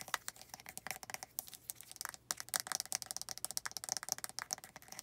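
Long red nails tap and scratch a white, hand-sized, hollow plastic lotion bottle across its body, label and cap. The result is a rapid, dense run of sharp, dry clicks and scratchy rasps, bright and thin with almost no low end. Each tap dies away almost instantly.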